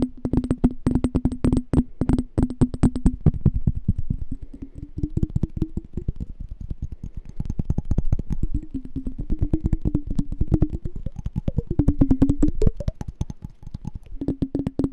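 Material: Glass.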